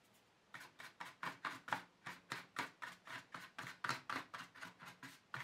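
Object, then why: Empty plastic tray. A hand rubs and strokes the flat base of an empty black plastic paint tube tray with its fingertips, a knit sleeve at the edge. About 19 short, dry swishing rubs follow in a quick, slightly uneven rhythm after a brief quiet start. Each stroke is a soft, papery scrape centered in the midrange with a bright hiss on top.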